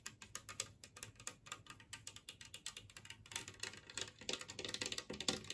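Long nails and fingertips tap an empty, large, flat, green glazed ceramic Christmas tree plate shaped like a tree, resting on a table. The result is a quiet, rapid series of bright, clicky taps with a short ceramic ring, growing denser and slightly louder toward the end.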